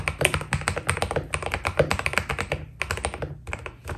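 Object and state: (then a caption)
Mechanical keyboard with PBT plastic keycaps. Fingertips type fast on a white Keydous NJ80 mechanical keyboard with PBT plastic keycaps. The result is a dense stream of short, crisp clacks with a low thocky body and bright click tops around 2.5 kHz. Two brief pauses break the flurry near the end.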